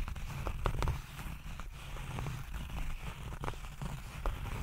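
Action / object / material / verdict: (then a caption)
scrape / small zippered case covered in tweed fabric / tweed fabric / none. A small, rigid, hollow nail clipper case covered in grey herringbone tweed fabric, with a zipper, is scratched with fingertips and nails while held close to the mic. The result is a steady, low, muffled scratching with soft thuds and a few brief, sharper ticks scattered throughout.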